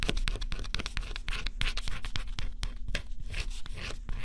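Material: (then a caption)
Coated cardboard. A small stylus held in the fingers scratches the black scratch-off coating on a flat, thin cardboard jigsaw puzzle. Rapid, uneven scratching strokes follow one another continuously, each a short, dry, bright rasp that stops almost at once, over a steady low rumble.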